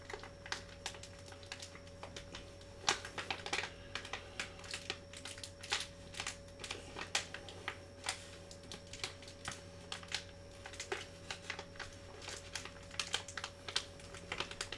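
A small Vicks cough drop pouch made of metallized plastic foil and filled with drops is held in both hands, crinkled, and tapped with fingertips and short nails. Quick, dry, bright clicks and crinkles come in an uneven stream, each dying away almost at once. A steady low hum and a faint constant tone run underneath throughout.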